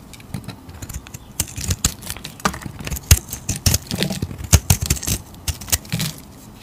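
A hand-sized solid green soap bar, held in long teal nails, is carved and scraped with a metal utility blade. Short, crisp scrapes and clicks come at an irregular pace, each a bright crackle over a soft low thud, with quiet pauses between strokes.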